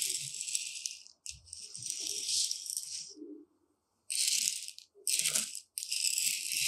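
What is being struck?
Uncooked rice grains in a shallow tray stirred with a metal rod.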